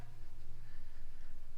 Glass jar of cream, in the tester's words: you don't hear anything that's because we have turned that liquid